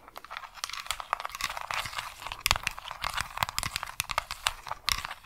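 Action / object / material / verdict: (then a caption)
tap / plastic remote control tapped with long nails / plastic / none. Long acrylic nails tap and click rapidly on the colored rubber buttons and plastic body of a small, flat white plastic remote control held in one hand. The result is a dense stream of bright, crisp clicks and crinkly taps that die away almost instantly, with little low end.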